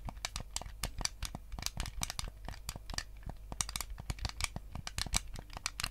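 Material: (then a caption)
Plastic. Fingertips and nails rapidly tap and scratch the hollow plastic shell of a white GameCube controller. The result is a dense stream of short, dry, bright clicks with crinkly scratching between them, over a steady low hum.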